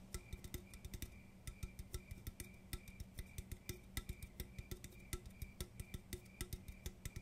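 An aluminum coffee can is tapped in a steady, quick rhythm, with each light tap giving a short, dull metallic tick and a faint high ring. The taps stop almost at once and carry a low hum underneath.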